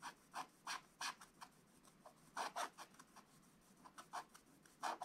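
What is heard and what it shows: A wooden stylus scratches the presents on a black-coated scratch-art book page with back-and-forth strokes. Short, dry raspy bursts, some closely paired, centre around 900 Hz with a bright hiss and are separated by a quiet background.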